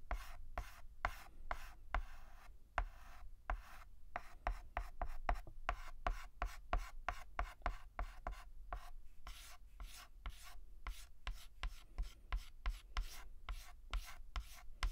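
White chalk is scratched across a black chalkboard in dense, rapid hatching strokes. Each stroke is a short, dry, gritty rasp with a bright edge over a low thud, cutting off almost immediately. The strokes repeat in a steady, quick rhythm.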